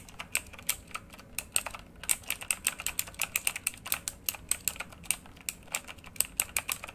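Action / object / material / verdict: tap / plastic mechanical keyboard / plastic / none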